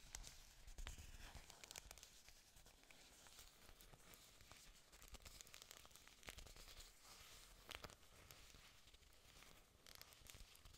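Long pink nails and fingertips scratch and rub several thick, glossy green artificial plastic orchid leaves held up close to the mic. Dense, soft crinkly scratching and brushing plays throughout, with bright rasping noise over a low rumble and occasional sharper crackles.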